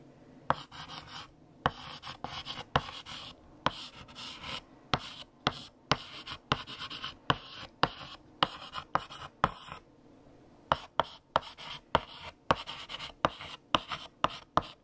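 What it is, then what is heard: Chalk writing on a chalkboard. A stick of green chalk held in the fingertips writes text across a large, flat, solid black chalkboard with a painted surface. Sharp taps as the chalk meets the board are followed by short, bright, scratchy strokes, with a brief pause in the middle of the writing.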